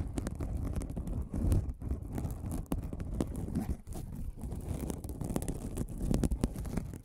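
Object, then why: Aluminum mesh scrubbing pad. A silver aluminum mesh scrubbing sponge is held beside the microphone and scratched with fingertips and nails. It makes a continuous crisp, crinkly scraping with rapid ticking bursts over a heavy low rumble. There are brief quiet dips between the scratching passes.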